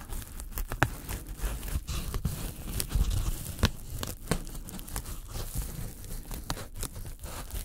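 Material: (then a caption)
Polyethylene foam. Thin white polyethylene foam packing sheet, about A4 size, held in gloved hands while tweezers pluck and tear small pieces out of it, leaving a growing hole. Close, dry tearing and scratching comes in quick, sharp bursts, with brief crackly snaps over a low, soft rumble.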